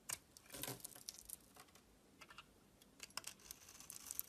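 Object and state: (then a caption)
Bar soap being shaved. A metal utility knife blade scrapes and shaves the surface of a solid oval pink bar soap held in one hand with orange-painted nails, and curled shavings fall onto a textured surface. Quiet, bright, crisp scratching and crackling bursts come in irregular clusters over a faint hiss, with almost no low end and no ringing after each scrape.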